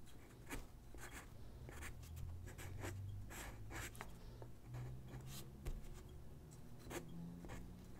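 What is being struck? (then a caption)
Graphite pencil on a paper sheet. A graphite pencil sketches on a single white paper sheet lying on a wooden desk, its tip scratching across the paper in a series of quick, dry strokes. The bright scratches stand out over a steady low hum, and the sound stays quiet throughout.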